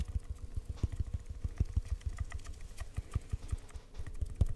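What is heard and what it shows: An empty, hollow brown cardboard tube, held at an angle near the mic, is tapped quickly and irregularly with fingertips and short nails. It gives soft, dull, deep thumps around 74 Hz with almost no ring, plus faint clicks from the nails.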